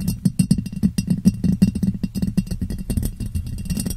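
Long painted fingernails tap and scratch the sides of a clear, medium-sized ribbed glass jar, hollow and empty, turned upside down over a foam-covered microphone. A rapid, uneven stream of short, dull clicks and scrapes carries a low, hollow resonance of about 190 Hz, and each hit dies away almost at once.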